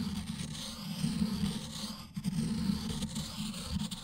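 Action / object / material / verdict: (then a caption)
scrape / ink stick on stone inkstone / stone / none. An ink stick held in the fingers is rubbed and ground against a round, black, solid stone inkstone with ink in its well, while the other hand holds the stone in place. The result is a steady, low, gritty scraping with a rough drone near 200 Hz and a faint bright hiss above. The scraping pauses briefly around the two-second mark before resuming in uneven strokes.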